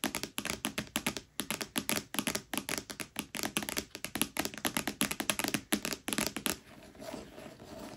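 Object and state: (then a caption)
Paperback book tapped with fingernails. Long nails of both hands tap rapidly on the front cover of a thick red paperback, *A Court of Thorns and Roses*, lying flat and solid. About forty short, dry, crisp taps with a bright papery click and almost no ring. The tapping stops at around 6.5 seconds, leaving quiet low hiss.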